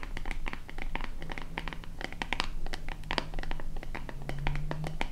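A small, hollow white plastic lotion bottle with a purple pump top and a label is scratched with long painted nails across its body and label. The result is a dense run of quick, crisp scratching ticks with bright, papery crackle over a low, steady hum.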